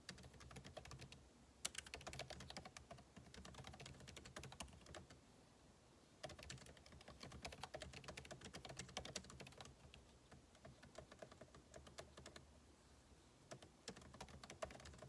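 Fingertips type rapidly on a backlit MacBook Pro keyboard with plastic keycaps set in an aluminum body. Dense runs of short, bright, crisp key clicks over a low soft thud, with brief lulls around six and twelve seconds before the typing picks up again.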